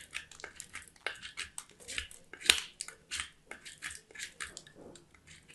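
A small, solid white soap bar is grated on a small handheld steel box grater in quick, repeated scraping strokes. Each stroke makes a short, crisp, bright rasp with almost no low end, and the soap shreds away in a steady rhythm.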